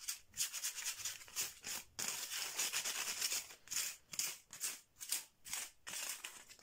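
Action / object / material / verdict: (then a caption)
scrape / bamboo slat mat / bamboo / none. Fingernails and fingertips, with rings on the fingers, rapidly tap and scratch the slats of a flat bamboo/wood slat mat with a red edge lying on cloth. The result is a steady run of dry, bright, scratchy rasps and clicks in irregular bursts, with almost no low end and very little ring after each stroke.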